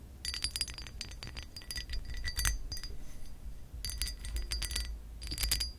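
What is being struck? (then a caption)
Pressed glass lamp base. Long acrylic nails scratch and tap a hollow pressed glass lamp base with an embossed pattern. Bursts of bright, high clinks and scratchy ticks come in clusters with brief pauses, each tap ringing only briefly over a steady low rumble.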